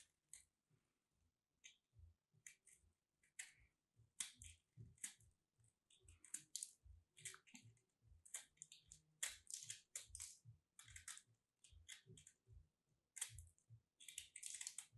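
A palm-sized solid purple soap ball covered in a starch crust is held by hands with long nails while a metal craft blade scrapes and cuts the crust. The clip is made of many quick, dry, crackly crunches with bright hiss and short thumps underneath, growing denser toward the end.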